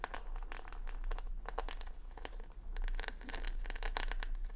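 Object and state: Rhinestone-backed wooden hair brush being scratched.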